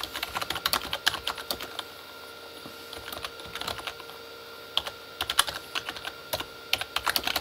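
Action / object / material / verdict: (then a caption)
tap / plastic keyboard keys / plastic / none. Both hands type with their fingertips on a full-size Corsair K35 plastic mechanical keyboard with red-backlit plastic keys. Bright, crisp clacks come in quick bursts separated by short pauses, and each keystroke dies away almost instantly over a faint, steady background tone.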